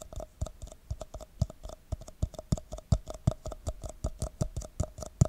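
Fingertips and nails tap the side of an empty red plastic party cup held over a microphone. A quick, uneven run of light, dull taps follows, each with a short hollow midrange ring and a soft low thump. Every tap dies away almost instantly.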